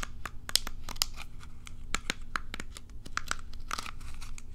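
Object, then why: Plastic pin hairbrush. Long nails scratch and strum the bristles of a small plastic pin hairbrush held close to the mic. The result is a rapid run of sharp, dry clicks and crackly snaps with bright edges, each dying away almost instantly over a faint, steady low hum.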